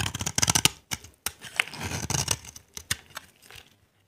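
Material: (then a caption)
Soap. A utility knife blade scrapes and carves a solid, dry, cream-white bar of soap held in the hand, raising dry shavings. A quick run of crisp, bright scratching strokes comes first, then a brief pause and several softer, scattered scrapes. Each stroke stops dead, with no ring, before the sound fades out.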